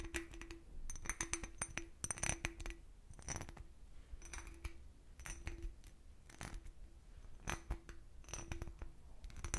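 An empty, hollow, clear cut-crystal glass decanter with a starburst base is tapped and scratched with nails. The result is a rapid series of light, bright clinks with short rings, mixed with scratchy scraping passes and a faint recurring low tone beneath.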